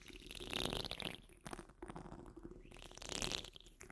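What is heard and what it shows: Long nails on curled fingers scratch the rounded, hollow steel wire-mesh grille of a large condenser microphone. The result is close, crackly, bright scraping in uneven bursts, loudest near the start and again toward the end, over a low rumbling undertone.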